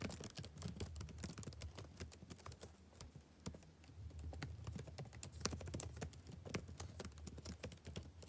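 Fingertips type rapidly on the plastic keys of a backlit laptop keyboard, producing a steady stream of short, crisp clicking taps. The quiet taps have bright edges and die away almost instantly over a soft low hum.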